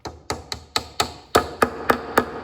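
A mallet taps a wooden dowel pin down into a table leg, producing nine short, dry knocks with a brief ring centered in the midrange, the later blows sounding firmer. The pin ends fully seated and sounds solid; hitting it further would split the leg.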